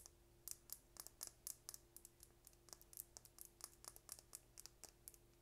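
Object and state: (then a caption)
Plastic lip gloss tube. A small, slim orange plastic lip gloss tube with a gold and blue cap, hollow with gloss inside, is held in the hand and tapped with long painted nails. A quick, uneven run of sharp, bright clicks ticks with almost no ring, over a faint steady low hum.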